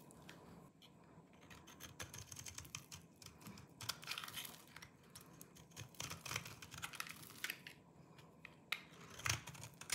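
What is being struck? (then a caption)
Bar of soap cut with a small knife. A solid oval bar of dry green soap, held in the palm, is deeply carved into flakes by a small knife in the other hand that cuts and scrapes it. Quiet, dense, bright crunchy scraping and crisp little snaps run throughout, with short louder bursts around the middle and near the end.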